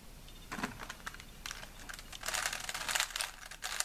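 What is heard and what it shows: A small solid plastic 3x3 Rubik's cube is held in both hands while the fingertips rapidly twist its layers. The result is a dense run of bright, dry plastic clicks and rubbing that grows busier and louder toward the end, with little low end and almost no ring.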